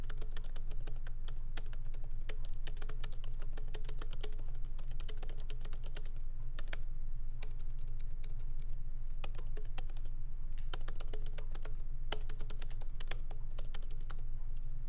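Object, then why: Laptop keyboard with plastic keycaps. Fingertips of both hands tap lightly on the black plastic keycaps of a MacBook Pro laptop keyboard in an aluminum body, resting on a wooden desk. Quick, irregular, crisp clicks run in bursts with brief pauses, over a steady low hum.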